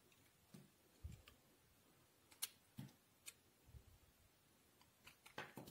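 A solid white bar of soap held in the hand is scraped and shaved along its edge with a steel utility knife blade. Short, crisp scrapes and ticks come in an irregular series, each with a soft low thump under a bright, dry edge that dies away almost at once. The strokes are quiet and grow denser toward the end.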